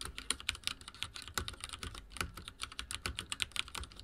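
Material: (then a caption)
Plastic. Fingertips of both hands type rapidly on a full-size backlit mechanical keyboard with dark plastic keycaps and linear switches, resting on a wooden desk. A quick, uneven stream of bright, dry plastic key clacks, each one short with almost no ring and a light low thump beneath.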